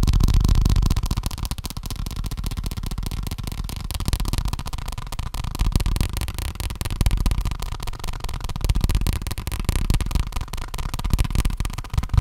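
A paper check book is tapped quickly with the fingers in a steady, continuous stream. The taps are soft and dull, with a heavy low thump and very little brightness, and no talking is heard.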